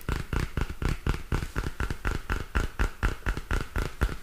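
Long fingernails tap and scratch a small purple spiral-bound paper notebook with a glossy card cover. A quick, fairly steady run of dull, low taps, each decaying almost at once, comes with a faint scratchy edge and a slight mid-range tone.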